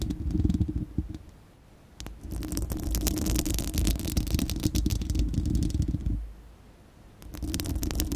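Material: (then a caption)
Steel mesh. Long acrylic nails of both hands scratch a bare, round, hollow-dome steel-mesh microphone grille. The result is dense, rapid scratching with a deep rumbling low end and bright, crackly friction on top. It comes in three bursts separated by two brief quieter pauses.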